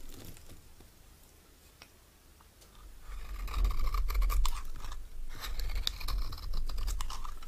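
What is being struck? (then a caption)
Bar of soap scraped with a metal knife. A solid, dry green oval bar of soap is scraped with a metal knife held in the right hand, while long nails grip the bar. The scraping starts faint and sparse, then turns into dense, crisp crunching and scratching from about three seconds on. It has a low rumble beneath and bright flecks of shaving noise on top.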